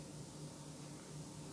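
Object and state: Nothing is struck.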